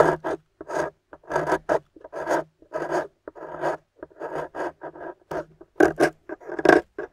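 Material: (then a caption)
Plaster. A thin metal loop scraper shaves the corner of a small, solid rectangular plaster block painted gold and embossed "GOLD," held in a hand with long pink nails. About fourteen short, dry, raspy scraping strokes are heard, separated by brief silences. They leave powdery crumbs.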